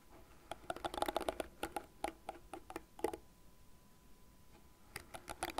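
Long nails scratch across the fine plastic bristles of a light blue, cat-shaped plastic hairbrush lying bristle face up, and tap on its frame. The result is dry, crisp ticks and short scratchy bursts. They come in a busy cluster, pause in near quiet for about two seconds, then start again near the end.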